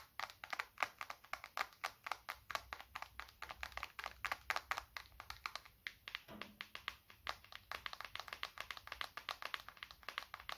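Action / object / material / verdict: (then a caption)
tap / smartphone, glass and plastic casing / plastic / none. A small, solid black smartphone held horizontally in both hands is tapped with fingertips across its back and edges to help reduce stress. A fast, steady stream of short, dry clicks with a bright midrange character and almost no low end follows, easing briefly around the six-second mark, where a faint low tone is heard before the rapid tapping picks back up.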